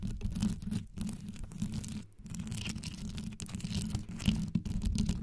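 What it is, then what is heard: Rhinestone-covered microphone being scratched. Very long yellow acrylic nails on both hands scratch and tap fast across a desktop microphone whose hollow grille head is wrapped in rows of colorful rhinestones over a metal body. The result is a dense, deep, rumbling scratch centered around 215 Hz with a thin, bright crackle on top, broken by a few brief pauses.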